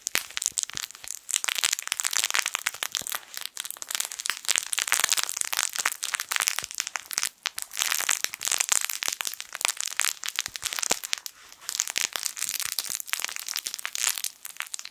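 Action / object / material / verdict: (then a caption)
shake / plush fabric toy with crinkle film inside / plastic film / none. A yellow, sun-shaped soft fabric crinkle toy, a plush sun with crinkle film inside, is squeezed with fingertips close to the mic. It makes dense, continuous crackling and crinkling that is bright and high with almost no low end, rising and falling in quick bursts throughout.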